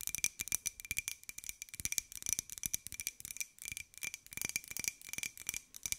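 A small, hollow white ceramic jar with a pink and gold pineapple print is tapped and scratched with long nails. The result is a quick, continuous run of bright, clicky taps with a faint ringing tone near 2.4 kHz, each tap dying away almost instantly. Almost all of the sound sits in the high range, with very little low end.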